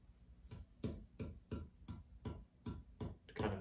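A cedar guitar top is tapped nine times at a steady pace to set a baseline tap tone, each tap giving a low, drummy boom around 100 Hz with a brief ring and a faint higher bell-like tone. The top sounds responsive, with nice sustain, as expected for cedar.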